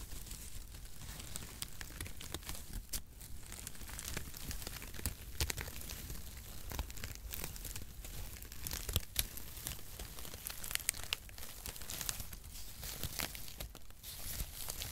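A mass of crinkle-cut cardboard packaging shreds is crumpled and squeezed with both hands in front of the microphone. The result is a dense, continuous crinkling and crunching with bright, crackly high detail over a low rumbling body, punctuated by sharper crunches throughout.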